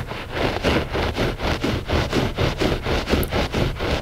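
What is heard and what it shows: Short fingernails scratch the pile of a flat gray loop-pile textile rug that is solid and soft. A steady run of dry, rustling scratch strokes repeats at about four per second, each a soft broadband swish with a low rumbling undertone and no ringing afterward.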